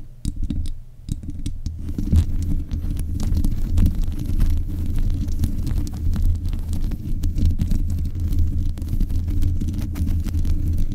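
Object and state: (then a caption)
Metal microphone grille, scratched and tapped. Long nails scratch and tap the metal mesh grille on the head of a black USB condenser microphone. The sound is a dense, muffled, low rumble of continuous scratching with thudding taps mixed in, nearly all of it deep bass and with brief, faint clicks higher up.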